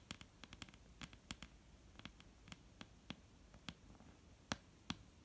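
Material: Wood.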